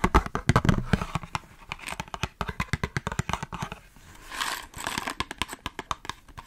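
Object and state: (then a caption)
Cardboard matchbox tapped with nails. A small hollow "Three Stars" cardboard matchbox holding matches is tapped rapidly with long nails, giving a fast run of dry, crisp clicks with short, low-bodied knocks. Around the fourth second the tapping gives way to a brief soft, rustling hiss, then the quick tapping resumes.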